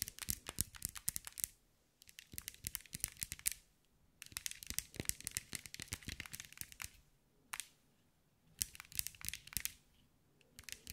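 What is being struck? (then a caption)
Small glass mosaic ball. Long white nails tap and scratch a hand-sized green mirror and glass mosaic ball. Rapid clusters of sharp, bright clicking taps and scratchy crackles come in bursts, separated by short quiet pauses. Each tap stops almost instantly.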